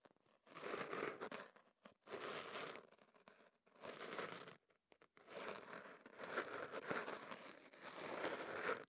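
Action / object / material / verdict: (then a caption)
scrape / kenaf paper wrapped around a microphone / paper / none. A hollow wrap of kenaf paper around a microphone is scratched and rubbed at its end by a thin pick held in the fingers. Close, dry crinkling and scraping rustles come in several bursts separated by short near-silent gaps. The sound is mid-focused with a bright papery edge and almost no low end.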